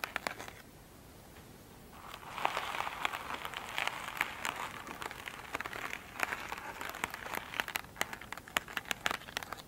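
Long pointed nails scratch an elongated oval foam sponge with a glittery surface, soft and solid, lying on a table. After a quiet start, a dense, bright crinkling rasp sets in, dotted throughout with sharp, crisp clicks and ticks.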